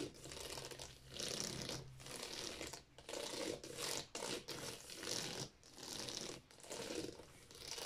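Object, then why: Plastic game cases. Fingertips and long nails tap and scratch quickly across the spines of a row of hollow plastic Wii game cases in a drawer. The result is a dense, bright, crinkly rattle of clicks and scrapes. It comes in bursts of a second or so, separated by brief dips.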